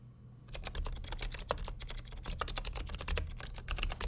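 Both hands type rapid fingertip key presses on a vintage beige plastic full-size NMB RT8255C+ mechanical keyboard with Hi-Tek "Space Invader" clicky switches and a hollow case, resting on a desk. After a brief quiet start, a dense, steady stream of sharp, bright clicks rings out, each with a short hollow clack beneath it.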